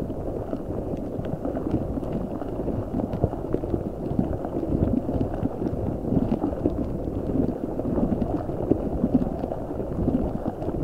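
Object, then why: Rubber spiky ball with gel water beads inside. A large translucent rubber spiky ball filled with gel water beads is squeezed and rubbed with fingertips and nails. It makes a steady stream of soft, wet squishing, crackling and clicking, heavy in the low and mid range, with faint sharp ticks and no clear gaps between sounds.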